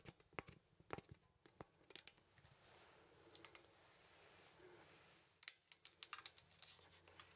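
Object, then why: Wooden poseable artist mannequin. Fingers bend the arms of a small, solid wooden poseable artist mannequin, making its joints click rapidly. Quick, dry, bright clicks come in irregular bursts at the start and end, with a quieter stretch of soft scraping and rustling in the middle.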